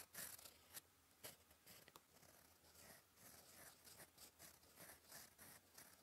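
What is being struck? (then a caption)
Paper sheet under a metal pen nib. A gold metal fountain-pen nib, held in the fingers, writes cursive on a flat sheet of cream lined paper resting on a desk. It makes soft, bright scratching strokes in quick, uneven bursts over a faint low hum.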